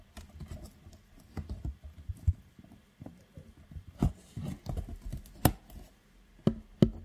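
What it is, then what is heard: Cardboard biscuit box. Fingertips tap and scratch the flat sides and edges of a hollow, medium printed cardboard belVita biscuit box held in one hand close to the mic. Soft, dull, low thuds mix with papery scratching patter, each tap dying away almost instantly. A few sharper, louder taps stand out toward the end.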